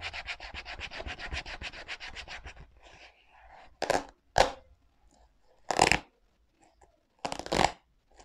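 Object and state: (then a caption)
Rubber sneaker sole edge. Fingertips rub and scratch along the leather side and white rubber sole edge of a black leather sneaker. A quick run of rapid, bright scratching strokes fades into soft rustling, followed by four louder, separate rubbing swipes with a bright, airy texture.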